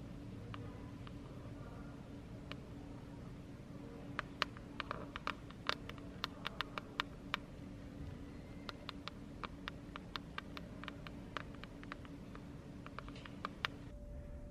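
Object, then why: Hardcover book with laminated cover. Quick, dry nail clicks, many in fast runs, on a stiff laminated book cover over a steady low hum.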